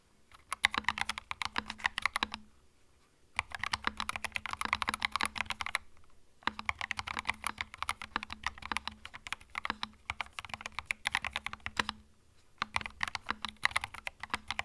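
Fingertips type on a small white 65% mechanical keyboard with plastic keycaps and a hollow plastic case, resting on a felt mat. Rapid, bright, clacky keystrokes come in four bursts separated by brief pauses, each click dry and short over a faint steady low hum.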